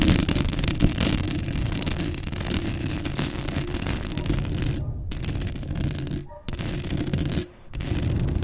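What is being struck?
Metal mesh microphone grille.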